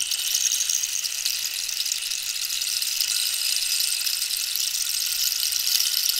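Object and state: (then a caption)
Cactus rainstick. Long nails scratch and tap the holed surface of a long, hollow, dried-cactus wooden rainstick while it is tilted. The result is a steady, bright, rain-like hiss and fine patter with almost no low end, holding an even level throughout.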